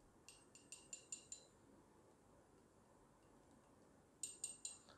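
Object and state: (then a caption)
Genuine silver bar, clear ringing tone. A 1 kilogram Metalor Swiss silver bullion bar is tapped six times in quick succession, then three more times after a quiet pause. Each tap gives a bright, high, chinking ring that dies away quickly. This easiest sound test marks the bar as real silver.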